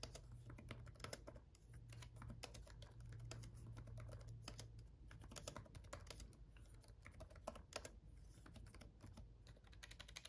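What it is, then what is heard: Plastic laptop keyboard. Fast fingertip typing with both hands on a black laptop keyboard with red backlit plastic keys. A dense, steady stream of quick, light clicks rattles over a low, constant hum.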